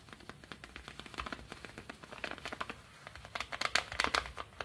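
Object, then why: Kraft paper padded envelope. Fingertips scratch and rub a small brown kraft paper padded mailer with stickers on it, lying on a table. The result is a quick, irregular run of dry, crinkly scratching ticks with a bright, papery hiss and little low end, growing louder toward the end.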